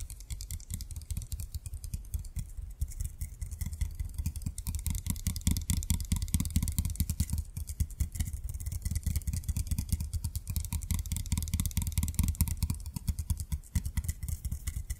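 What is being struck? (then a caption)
Glass bottle filled with water beads. A small conical glass bottle with a perforated metal cap stands upright, full of blue water beads, while both hands tap its glass sides with fingertips and nails. Quick, uneven taps run continuously, giving soft low thuds with faint bright clicks on top.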